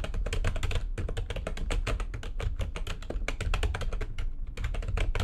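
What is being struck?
Plastic computer keyboard.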